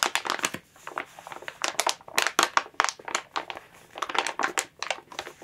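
Long nails scratch, tap and crinkle a thin clear plastic bag wrapped around a Squishmallow plush toy lying flat. Bright, crackly crinkling comes in quick clustered bursts separated by brief quiet gaps. The sound has almost no low end.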